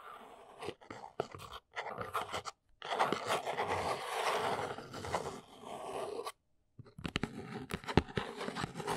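Long pink nails tap and scratch the top of a small, hollow brown corrugated cardboard box from Arteza basswood blocks, resting on a fluffy surface. Dry, sharp taps open and close the clip around a long stretch of dense, papery scratching in the middle, with brief silent gaps between sections.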